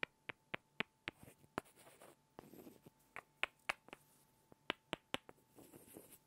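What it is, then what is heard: Pair of wooden blocks. Two small, solid light-wood blocks are tapped and rubbed together by hand, making a quick series of sharp, dry, bright clicks with almost no ring. Softer scratchy rubbing passes fill the gaps between the taps, and a faint steady hum runs underneath.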